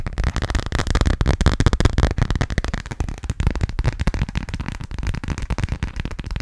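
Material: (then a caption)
Plastic. A hand-sized, thin-shelled transparent plastic phone case decorated with yellow duck stickers is tapped quickly with fingertips and nails. The result is a dense, continuous stream of short, dry clicks and taps with a low, thumpy body and almost no ring after each hit.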